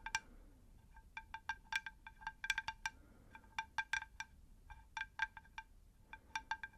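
A shallow, round, unglazed terracotta plant saucer is tapped with long nails in quick, irregular bursts. Each tap is a bright, clicky tick with a faint chime-like ring around 1.6 kHz that dies away almost at once, over a quiet low background.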